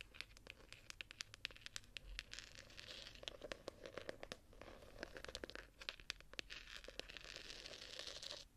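Long nails scratch and tap the textured, embossed gold-pattern cover of a small ornate gilded hardcover journal, which lies flat and is then handled. Dry, bright scratching hiss runs throughout, broken by many sharp, crisp taps that stop instantly with almost no ring.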